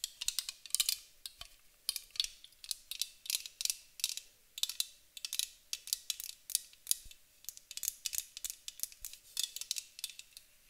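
A white aluminum aerosol spray can, held sideways, is tapped and scratched along its body with long acrylic nails. The result is quick clusters of crisp, bright clicks and scratchy ticks that die away almost instantly, with almost no low end and a faint steady tone underneath.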